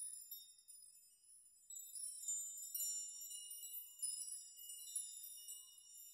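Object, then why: Hanging metal nails. Hands grasp and rock strands of hanging metal nails so they knock together and chime. It makes a quiet, bright, high tinkling with overlapping ringing tones and no low end, rising into louder clusters of jangling strikes that fade briefly between swings.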